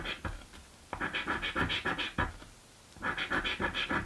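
A coin scratches the surface of a thin, flat, blue cardboard scratch-off lottery ticket in quick back-and-forth strokes. The strokes come in short rhythmic bursts with brief pauses between them. Each stroke makes a dry, papery rasp with a bright edge and almost no ring.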